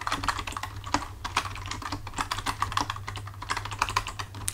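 Both hands type with their fingertips on a full-size black plastic computer keyboard resting on a desk, producing a quick, steady stream of short, bright clicking taps. A steady low hum runs underneath the whole time.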